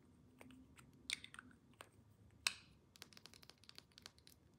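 Long nails tap a rectangular clear glass perfume bottle, partly full of amber liquid, and its metal cap. The taps come in a quick, irregular series of short, bright clicks and ticks, with two sharper, louder strikes near the start and middle.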